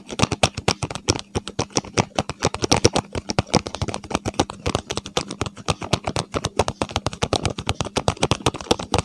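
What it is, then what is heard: Cardboard box tapped and scratched. Fingertips rapidly tap and nails scratch a small, hollow paperboard medicine box with yellow and blue print, held in both hands close to the microphone. The result is a dense stream of short, dry, hollow clicks and papery scratches with almost no ring, over a faint steady low hum.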